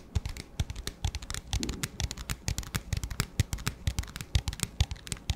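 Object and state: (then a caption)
Plastic cup tapped with fingertips. Fingertips and nails tap rapidly on an empty, transparent, hollow disposable plastic cup with a black lid. Roughly 36 short, dry taps land in an uneven rhythm, each a low hollow thump with a bright clicky edge that dies away almost instantly.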